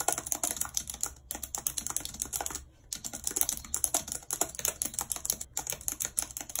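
Long red acrylic nails type rapidly on a white low-profile plastic wireless keyboard with a full number pad and hollow housing, lying flat on a map-printed surface. Dense, bright, hollow clicks run almost continuously, with very little low end and brief pauses near 1.2, 2.8 and 5.5 seconds.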